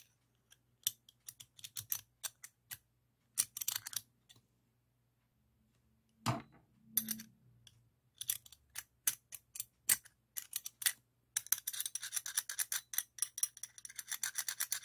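A small, solid chrome-plated steel combination wrench is held in one hand while the tip of a second steel wrench taps and scrapes inside its ring end. Bright, dry metallic clicks come in scattered bursts with very short ring, broken by a brief pause and a fuller, lower scraping clank. The clip ends in a fast, dense run of tapping.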